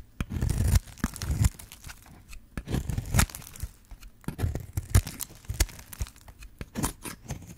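A hand-sized, yellow-orange bar of dry soap is held in the hand while a metal blade scrapes and cuts into its surface, and shavings fall away. The sound is a run of dry, crisp scraping and crunching strokes, some drawn out and some short and snappy, with a full low body and quick bright edges that stop almost instantly.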